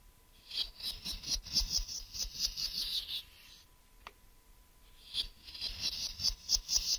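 Fingertips and nails tap and scratch the flat face and ridged side of a hollow grey translucent plastic case held up close. Quick, bright, crackly scratches and light taps come in an uneven run, stop for about two seconds except for a single sharp click, then start again.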